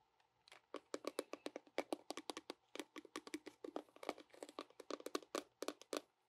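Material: Plastic.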